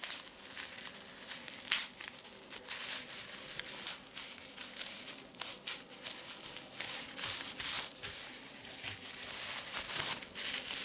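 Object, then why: Plastic bubble wrap sheet. A sheet of clear plastic bubble wrap resting on a leather seat is crinkled and squeezed by fingertips. The result is a steady, irregular stream of bright, crisp crackling and rustling with sharp little snaps, almost entirely high-pitched with no low end.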